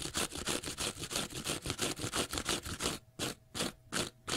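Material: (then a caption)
Cellulose. A small block of pale green porous cellulose sponge is scratched on its face and edge with fingernails. The result is a fast, steady run of bright, hissy scratching strokes at nearly three per second. The strokes become more separated, with short silent gaps, toward the end.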